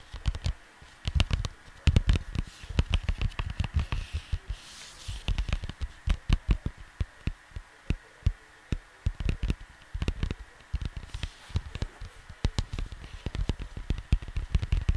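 Fingertips of both hands tap rapidly on a flat, printed cardboard vinyl record sleeve. The result is a dense, irregular patter of soft, dull thuds that are heavy in the lows and die away almost instantly. Bursts of quick taps alternate with brief pauses.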